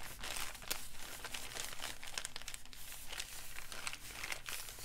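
An empty, crinkled brown kraft paper bag is crumpled and pinched with fingertips. A steady dry crinkling carries bright, sharp crackles throughout, over a faint low rumble.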